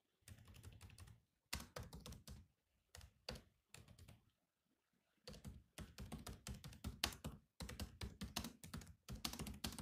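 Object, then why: Laptop keyboard with plastic keys. Fingertips type on the black plastic keys of a silver laptop keyboard, producing rapid clicky taps in bursts separated by short pauses. Each tap is short and dry, with a low thud beneath a bright click.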